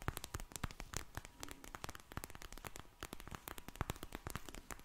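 A pink vinyl gel bead eye mask, soft and filled, is held up, squished and tapped with long nails. The result is a dense run of quiet, sharp crackling ticks and taps with bright clicky edges over a low, soft squish, each click dying away almost instantly.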